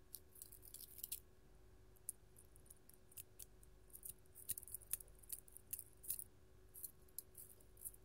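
A gold-tone metal hand chain with filigree claw nail caps is worn on one hand, and the fingers move and shake it. The metal caps and chains clink against each other in quick, bright, tinkling ticks that come in scattered bursts. A faint steady hum sits underneath.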